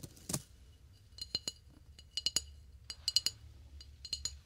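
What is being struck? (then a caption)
Flower vase. Light, irregular taps on a flower vase make a series of bright, high-pitched clinks with a faint ring. Each tap dies away almost at once, some landing in quick clusters, over a quiet low background hum.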